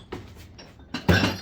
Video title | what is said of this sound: Awesome Abandoned Storage Locker Unit Filled With Vintage Coolness 😎 Let's go on an Adventure 😁😁 | Oh, sounds like glass. More glass.